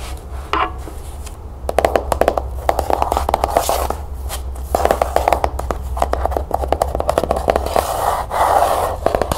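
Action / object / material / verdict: tap / cloth-bound hardcover book / cloth, board / none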